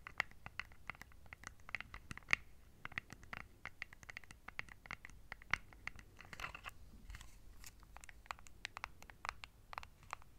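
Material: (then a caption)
Plastic. Long nails tap and scratch the colored buttons and casing of a small, flat plastic LED remote control held in both hands. The sound is a dense run of quiet, sharp, dry clicks and scratchy ticks, bright and crisp with almost no ring, over a faint low background.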